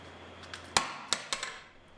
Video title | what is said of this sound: 조직을 검사하지 않고 소변만으로 암 발병의 유무를 진단할 수 있다 | 망치로 내려치는 수준의 힘을 가진 500g 에 쇠구슬을 끝까지 견뎌 냅니다